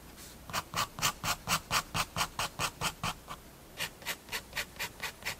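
A fineliner pen tip scratches repeated hatching strokes across a page of a spiral-bound paper sketchbook. About twenty short, bright, dry scraping strokes come in a steady quick rhythm. A brief pause falls just before the last few strokes.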